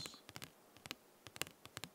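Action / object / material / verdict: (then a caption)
tap / paper concert ticket / paper / none. Light tapping on paper concert tickets produces a series of quick, crisp clicks with a bright, papery high-frequency tone. Each tap ends almost instantly, with short quiet gaps between them.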